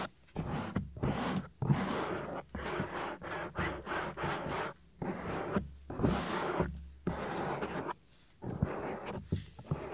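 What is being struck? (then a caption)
Silicone ear of a binaural microphone. Fingertips rub and scratch over a soft, solid, ear-sized silicone ear mounted on a white 3Dio binaural microphone. The result is close, muffled bursts of rubbing and scratching, heavy in the low end and separated by short quiet gaps.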